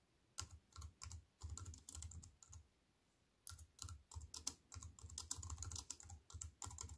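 Fingertips with long white nails type on a compact wireless keyboard with black plastic keys in a thin silver aluminium frame, resting on a wooden table. Quick bursts of crisp, bright key clicks over soft low thumps come in rapid runs, with a pause of about a second midway before typing resumes. Each tap dies away almost instantly.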